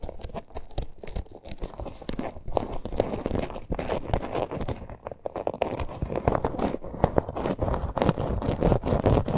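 Long nails scratch and tap the parrot appliqué on a small, hollow teal faux-leather purse. The result is a dense, irregular run of dry, crinkly scrapes and quick soft taps, weighted toward low and mid tones with little brightness and almost no ring after each hit.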